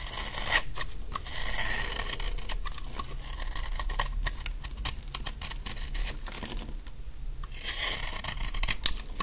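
A large, dry, solid yellow bar of soap held in the hand is scraped and shaved with a utility knife blade, shedding fine crumbs. A continuous run of dry, crisp scraping and crackling strokes is heard, bright and gritty, with short sharp clicks scattered throughout and a low background rumble.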